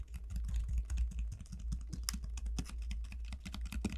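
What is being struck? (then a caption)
Dried bottle gourd shell. Long nails tap and scratch the hard, hollow shell of a large, elongated dried bottle gourd, which is then turned and held. Quick, dry, bright clicks and scratches patter over a steady low hum that holds underneath throughout.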